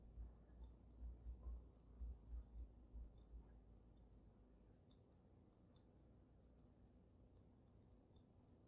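Fingernails tap on the sides of the glass dome of a water-filled glass snow globe with glitter and a dragon inside. Quiet, bright clicking taps come in uneven clusters over a deep low rumble that fades after about five seconds, leaving soft, sparse taps.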